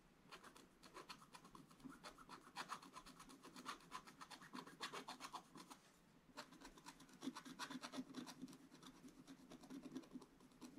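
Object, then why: Coated scratch-art paper scratched with a wooden stylus. A wooden stylus scratches the black coating of a scratch-art paper page in short, rapid strokes while a hand holds the book flat. The result is a dry, raspy scraping with a bright hiss over a low-mid body. The strokes pause briefly near the middle, then resume.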